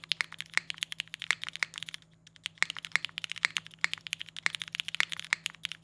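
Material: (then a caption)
Plastic. Fingertips type continuously on the GMK Boneyard ABS keycaps of a compact Singa Kohaku R2 mechanical keyboard with a polycarbonate case. The result is a rapid run of short, bright, clacky keystrokes that die out instantly, with a brief pause about two seconds in before the typing resumes.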